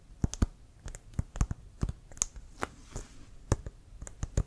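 Fingertips and nails tap and scratch a brown leather American football, hollow and inflated, held upright near the face. About a dozen short, dry taps sound in an irregular pattern, each with a low thump and a bright click that dies away almost instantly. Soft scratchy rustles fill the gaps between them.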